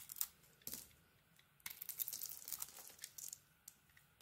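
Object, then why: Bar of soap. A utility knife blade carves and scrapes a solid bar of soap with a textured pink coating and an orange interior, breaking off crumbly chips. Quiet, bright, crisp scraping and crackling bursts come in short clusters separated by near silence, with almost no low end and very little ring.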